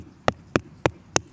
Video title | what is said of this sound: WASSERMELONEN anbauen - Anbau, Pflege, Ernte, Verkostung | Die hier klingt jetzt zum Beispiel auch nicht hohl.